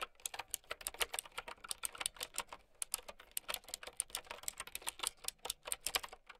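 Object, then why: Plastic mechanical keyboard. Fingertips with long painted nails type steadily on a mint and white plastic typewriter-style mechanical keyboard with round keycaps. The result is a brisk, even stream of sharp, bright clicks that die away almost instantly, with very little low end.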